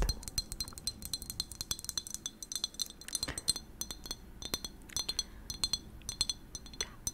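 Long nails tap rapidly and irregularly on a purple-tinted glass bottle filled with liquid, with a cork stopper and a paper label. Dozens of bright, high glassy clinks ring briefly and die away almost at once, with soft clicking in between.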